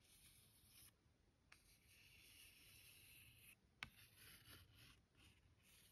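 A fingertip and nail trace and rub across the surface of a thick paper greeting card with a bear illustration, lying flat on a stack of cards. Soft, bright, papery scratching and rubbing comes in several strokes of a second or so each, with two sharp little taps standing out.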